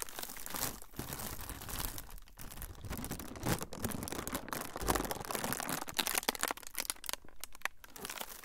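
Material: Plastic.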